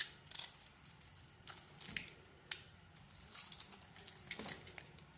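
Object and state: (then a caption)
Bar of soap being carved. A metal blade cuts strips off a solid white soap bar coated in pink glitter while it is held in the hand. Quiet, bright, crisp scraping and shaving bursts come in quick irregular strokes, with faint crackles between them.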